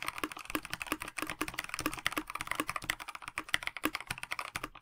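Fingertips of both hands type continuously on a KBD67 Lite 65% mechanical keyboard with a plastic case, translucent backlit PBT keycaps and stock linear switches. Quick, crisp key taps follow one another with little low end, each clack bright and centered near 2 kHz, dying away almost instantly.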